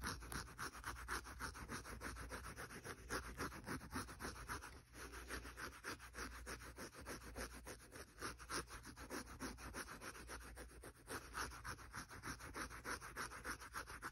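The soft yellow polyurethane foam side of a small rectangular kitchen sponge is rubbed and scratched quickly with fingers and nails. It makes a quiet, steady stream of soft scratchy rustles, about three to four strokes per second, with a midrange hiss around 1.3 kHz and a faint low rumble underneath.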